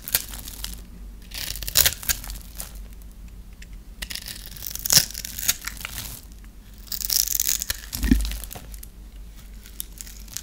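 A metal blade scores a hand-held, dry, solid brown bar of soap in a cross-hatch and shaves it into small crunchy cubes. Bright, dry scraping and crisp crackles repeat throughout, with louder crunchy bursts along the way as the cubes break off.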